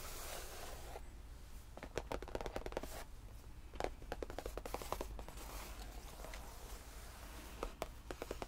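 Fingertips tap the top of a long, padded, solid cream faux leather tufted bench, and flat hands brush lightly across its surface. Quick, dull, muted taps come in uneven clusters over soft, scratchy brushing sweeps, with a steady low hum underneath.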